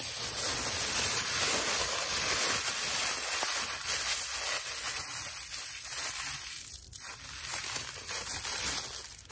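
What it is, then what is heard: Thin plastic shopping bag. A brown, thin plastic carrier bag with red print is held and crumpled between both hands with the fingertips. It gives a steady, bright, soft crinkling with a hiss as air leaves the bag, which eases slightly near the end.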